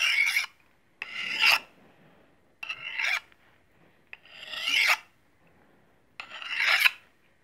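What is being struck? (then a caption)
Small steel knife blade and steel honing rod. A small solid steel knife blade is scraped along a steel honing rod in five separate strokes, with a brief click between the third and fourth. Each stroke is a bright, high metallic rasp centred around 2.5 kHz that swells in loudness toward its end, then cuts off into near silence.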